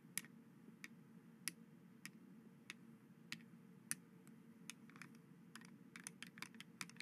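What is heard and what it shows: White plastic skeleton hand grabber toys are worked by hand over a dark cloth, their finger bones snapping together in short, sharp, bright plastic clicks. The clicks come spaced apart at first, then quicker and more clustered toward the end, over a quiet low steady hum.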